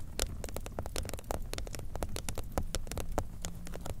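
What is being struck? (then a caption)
Cardboard cover of a watercolor pad. Long nails of both hands tap rapidly on the blue cardboard cover of a large spiral-bound watercolor pad, a solid paper stack lying flat. A dense run of short, dry clicks with bright tips rises over a low, muffled rumble, each tap dying almost instantly.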